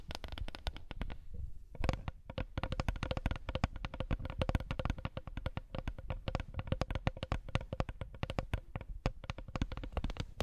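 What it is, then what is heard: Wooden coaster. A wooden coaster is tapped rapidly and continuously for about ten seconds, producing dense, dull, short wooden clicks with no ring. The taps have a low-heavy body and a faint steady tone near 500 Hz, with a brief lighter pause just before the two-second mark.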